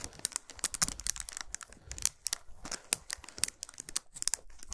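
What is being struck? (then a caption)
Chocolate bar wrapped in aluminium foil. Long pointed nails rapidly tap and scratch a solid chocolate bar wrapped in shiny aluminum foil, resting on a towel. The result is a fast stream of crisp, crinkly foil clicks and scrapes, bright and dry with almost no ring, over a faint low rumble.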